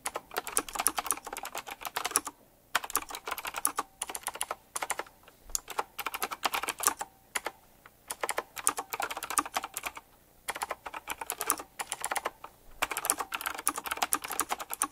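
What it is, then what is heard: Typewriter-style mechanical keyboard being typed on. A retro typewriter-style mechanical keyboard with round plastic keycaps and metal rims is typed on quickly with the fingertips of both hands. Bursts of fast, bright, clicky keystrokes are broken by short silent pauses, and each click is crisp and dies away almost instantly.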